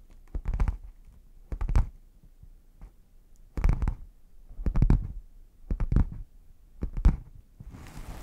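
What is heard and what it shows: Fingertips and short nails tap and scratch across the front face of a medium, red, Lotte Ghana-branded hard-shell zip case with a faux-leather/vinyl covering, held upright, closed and hollow in front of the microphone. Six separate clusters of quick, dull, low thuds stop almost at once, then a softer, brighter scratching hiss follows at the end.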